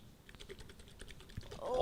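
A metal can of Korean silkworm pupae in soy sauce is shaken, giving a quick run of soft rattles and clicks from the contents that grow louder toward the end. The contents are considered disgusting.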